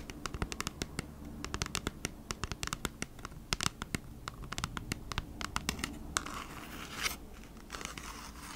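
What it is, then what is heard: Cardboard package. Long nails scratch across the printed surface of a thin, hand-sized, flat cardboard Bee's Wrap package, producing a rapid string of sharp, dry scratching clicks. Near the end the strokes blend into a brighter, hissing scrape before the clicks return over a low background rumble.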